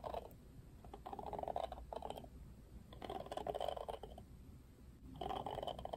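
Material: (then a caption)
Plastic. Fingertips strum the thin plastic bristles of a Barbie Wet Brush, a plastic detangling hairbrush with a plastic frame. The result is quiet, dry, rapid ticking and rattling in several uneven bursts, centered in the midrange around 600 Hz. The clicks stop dead with no ring, over a faint steady low hum.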